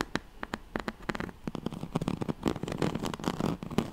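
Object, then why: Woven straw-like fabric mat. Fingernails scratch the ribbed weave of a yellow striped, oval woven straw-like fabric mat. Quick, dry crackly scratches start sparse and build into a denser, steady scraping, with mostly low-mid body and little bright content.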